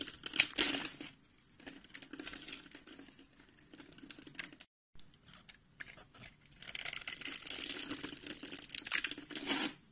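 A green-handled utility knife scrapes and cuts across a solid rectangular beige bar of soap, held in the palm and pre-scored into a grid, shedding flakes. Bright, crisp scraping and crackling bursts come in two busy stretches, with quieter, sparser cuts between them and a brief silent gap near the middle.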